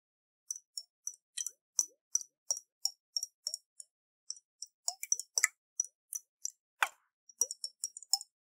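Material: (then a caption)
Glass. A round, hollow glass jar with a metal lid, partly filled with water, is shaken in the hands. The water sloshes inside in a quick, uneven series of short, bright plops and clinks. Each splash dies away almost at once, with no low rumble.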